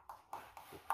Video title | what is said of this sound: TULOY PARIN SAPAG GAWA NG HAMBA | yung tunog niya iba. Parang walang laman.